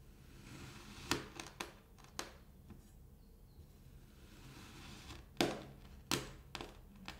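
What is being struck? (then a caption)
Kinetic sand block cut with a steel knife. A steel kitchen knife blade slices crunchy cuts into a small, solid, molded square block of kinetic sand. Short, gritty crunches come in two irregular clusters with a quiet stretch between, each one a sharp bright crackle that dies away quickly over a faint background hiss.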